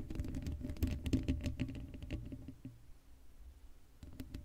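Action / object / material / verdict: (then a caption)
scrape / steel mesh microphone grille / steel mesh / none. Long acrylic nails scratch quickly across the hollow black steel mesh grille of an uncovered Blue Yeti microphone. A dense, crackly patter of short scratches rides over a boomy low rumble and a faint steady hum. The scratching is busiest in the first half, then thins to sparser taps before a brief final flurry.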